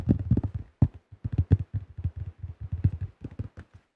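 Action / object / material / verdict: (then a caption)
tap / thin plastic disc golf disc / plastic / none. Fingertips tap and grip the rim and underside of a tan plastic disc golf disc with a blue rim and thin shell. The result is a fast run of dull, low, hollow knocks around 100 Hz that stop almost at once, with brief scratchy brushes from the grip between them.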